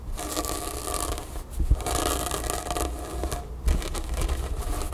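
Long nails scratch and rub a grey cotton t-shirt with a printed graphic, laid flat on a table. The result is a steady, dense scratchy rustle over a low rumble, with a couple of brief louder scuffs partway through.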